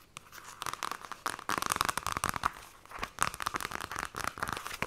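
Long nails scratch and trace quickly across the glossy card cover and spine of a paperback copy of *The Fairy Bears*. Dense bursts of dry, crinkly scratching cluster around a bright midrange tone near 1.2 kHz, with brief quiet gaps between runs.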